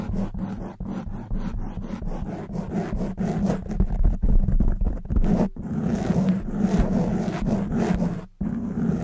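Long white nails scratch a black foam windscreen on a silver microphone, making a dense, low, rumbling scrape with a steady hum-like body around 200 Hz and below. The strokes run quickly and unevenly, with short breaks near 5.5 seconds and a brief silence near 8.3 seconds before the scratching resumes.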